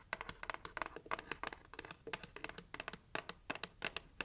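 Long nails tap and scratch the lid and rim of a hollow, red heart-shaped cardboard gift box. The result is a quiet, irregular stream of quick, dry, crisp taps and scratchy rasps, bright and papery, with almost no ring or low end.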